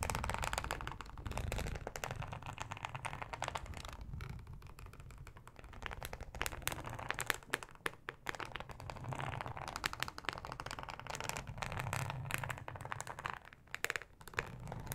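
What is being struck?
Thin flexible plastic cutting mat with ribbed texture.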